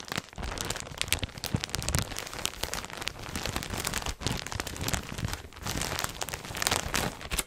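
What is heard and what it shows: A full clear plastic polybag printed CHIQUELLE, holding beige knit clothing, is handled and crinkled close to the microphone by fingers with long red nails. The result is a dense, continuous crackling rustle spread from low to bright high tones, with brief quiet dips.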